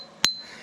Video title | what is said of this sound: Millwrights views and opinion regarding donations | if the wheel was cracked it would go thud thud